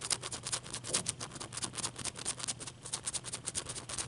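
Long dark nails tap and scratch the surface of a large, clear, solid block of ice held in the hands. The result is a quick, uneven run of crisp, bright clicks and scrapes that die away almost instantly, over a faint low hum.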